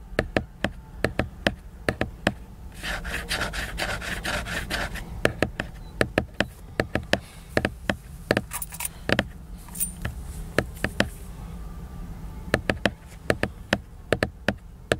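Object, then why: Laminated paper book cover. Fingernails tap and scratch the glossy laminated paper cover of a large picture book, giving dozens of short, crisp clicks. A steady, bright scratching passage comes a few seconds in, over a constant low hum.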